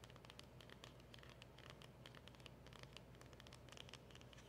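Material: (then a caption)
Cardboard. Long acrylic nails tap and scratch the front and sides of a small, hollow black cardboard packaging box with a round emblem sticker. The result is a quiet, continuous stream of quick, crisp clicks and scratchy rustles with bright high edges over a low, steady hum.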